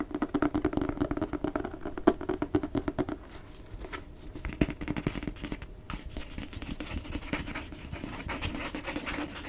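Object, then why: Cloth-bound hardcover book. Fingernails scratch and tap the cover of a solid red cloth-bound hardcover book with a gold-stamped cover, held close. A fast run of dull, short taps fills the first three seconds, followed by softer scratching mixed with scattered taps that pick up again toward the end.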